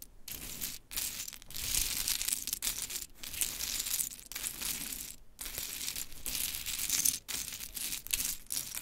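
Long pointed chrome nails rake, scratch and tap through a loose pile of many mini pink-painted wooden clothespins with metal springs, resting on glittery fabric. Dense, bright clicking and rattling rises in long bursts separated by brief pauses, with sharp wooden clacks and faint metallic jingles.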